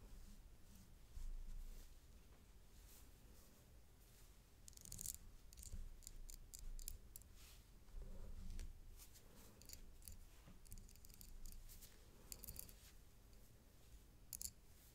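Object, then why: Thin metal link chain necklace with clasp. A thin gold-tone metal paperclip-link chain necklace with a round coin pendant and toggle clasp lies on a dark fabric mat as a white-gloved hand arranges it and a thin black stick taps the clasp and links. Quiet, irregular metallic ticks and clinks, with short bright bursts, sit over a steady low hum.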